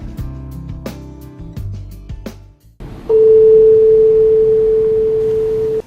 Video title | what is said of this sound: สารคดีฟิสิกส์ ตอนการวิเคราะห์ฟูเรียร์ | ที่มีคุณภาพจะให้เสียงที่มีความถี่เดียว